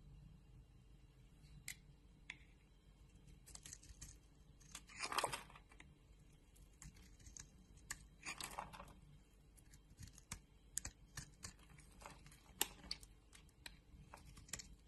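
A metal utility-knife blade scrapes and carves the surface of a palm-sized, solid rectangular green Anitta bar soap. Quiet, crisp clicks and bright ticks are scattered throughout, broken by two longer, louder scraping bursts around five and eight and a half seconds. Each sound is dry and stops at once, with no ring.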